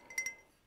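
Two quick clinking taps on a handmade ceramic pottery mug, bought at a pottery workshop on holiday, give a bright ringing tone near 2 kHz with a higher overtone, each fading within a fraction of a second.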